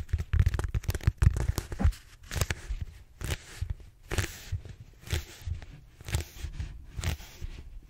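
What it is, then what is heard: Foam roller being scratched. Fingertips and short nails scratch the textured surface of a large, solid, purple styrofoam foam roller held upright. The result is dry, crunchy scratching with a heavy low rumble and bright crackle. A dense flurry of strokes in the first two seconds gives way to shorter, evenly spaced scratches.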